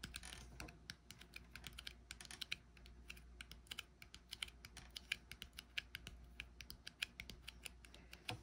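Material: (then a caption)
Metal, glass. Fingertips tap and rub the flat top of the brushed silver metal lid on a small frosted glass cosmetic jar held in the hand. The result is a quick, irregular flurry of light, dry, clicky taps with a bright ring near 2.4 kHz that dies away almost instantly. A soft low hum runs steadily underneath.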